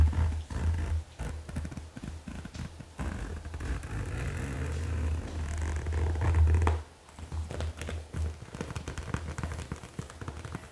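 Long acrylic nails and fingertips tap and scratch the front and top of a medium, soft-sided, white-and-grey marble-print faux leather (PVC-like) zippered cosmetic bag filled with makeup items, resting on a black leather surface. The result is a dense, low, rumbling scratch with quick, uneven taps layered through it. The sound briefly drops away near the seven-second mark before the tapping and scratching resume.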